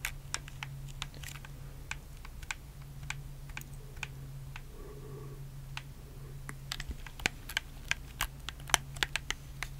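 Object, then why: Plastic game controller. Fingertips press and click the buttons and a thumbstick of a black, hollow plastic PS4 controller close to the mic. Sharp, bright plastic clicks come in an uneven, scattered series over a steady low hum, growing a little louder and denser toward the end.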